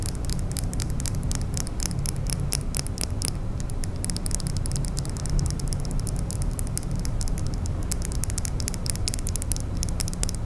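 Long manicured nails tap and scratch a small, solid glitter glass nail file held in the fingers, making a dense run of quick, bright clicks and ticks over a steady low rumble. The tapping continues at an even level for the whole clip, with each click dying away almost at once.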